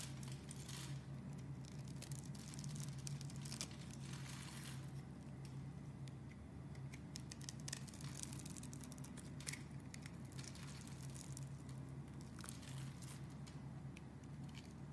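A metal blade scrapes the scored surface of a solid, rectangular green and white striped soap bar held in the hand, shaving it into small crumbly flakes. A steady, quiet run of dry scraping and crinkling crackles continues throughout, with brighter bursts of crumbling over a constant low hum.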